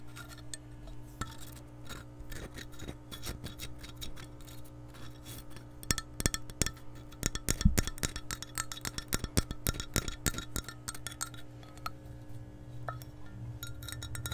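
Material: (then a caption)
Glass. Long nails tap and scratch the bottom and side walls of an empty, hollow, clear glass measuring cup with a handle. Rapid, bright, short clicks and scraping rub over a steady low hum, with the tapping growing louder and denser midway through before easing off.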